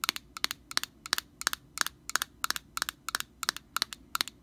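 An orange hollow plastic cap on an aerosol can, held sideways, has its end and rim tapped and scratched with long painted nails. Quick, bright clicky taps come in short clusters of two or three, repeating at a steady pace. Each tap is dry and ends almost instantly with no ring.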